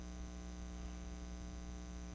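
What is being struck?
Nothing is struck.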